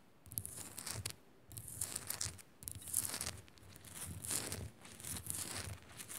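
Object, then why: Rock-salt lamp. Long nails scratch and tap the rough sides of a solid pink Himalayan rock-salt lamp held in both hands. Quick bursts of bright, gritty scratching alternate with brief pauses, and soft low thumps from the taps sit underneath.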